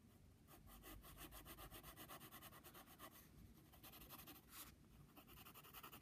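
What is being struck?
Pencil on brown paper padded envelope.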